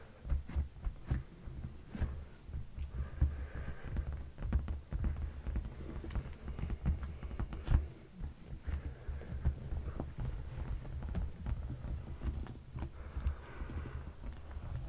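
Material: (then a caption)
Leather. Fingertips and short nails tap and scratch the dark padded leather seat cushion of a sofa. The taps are dull, low thumps that die away almost at once, mixed with a soft, scratchy rustle over a steady low rumble.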